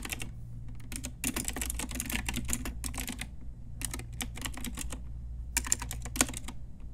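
Long nails and fingertips type on a pink Ajazz retro typewriter-style mechanical keyboard with round plastic keycaps, making quick, bright plastic clicks and clacks in dense bursts. The typing pauses briefly twice, and a steady low hum runs underneath throughout.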